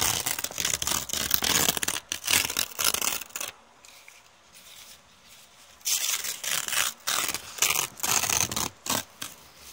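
A thin brown kraft paper bag with teal print is held up while long red painted nails scratch and crumple it. Bright, dry crinkling and scratching come in dense bursts, stop for a quiet stretch of about two seconds, then return in shorter separate bursts.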